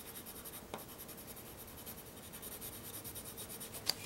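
A white pencil rubs and hatches continuously across a flat, solid-backed sheet of black drawing paper. The result is a quiet, steady, bright scratching hiss, broken by two brief sharp ticks near the start and the end.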